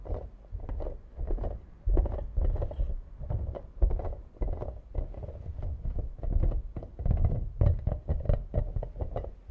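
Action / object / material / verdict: tap / hollow plastic toy ball / plastic / none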